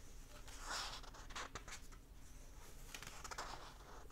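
Fingertips and short nails rub and scratch the printed paper pages of an open hardback book lying flat, then turn them. Quiet, dry scratching and soft rustling run throughout, with brighter papery swishes swelling and fading as the pages are brushed and turned.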